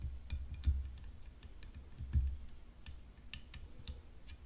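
Long nails tap rapidly along the hollow composite frame of a rhinestone-decorated tennis racket lying on black cloth. The taps make soft, low, hollow thuds with short bright clicks, two of them louder than the rest, over a faint steady high whine.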